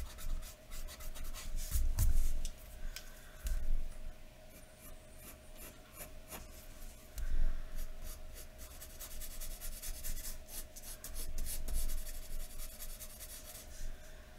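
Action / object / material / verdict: scrape / graphite pencil on paper sheet over a wooden table / paper / none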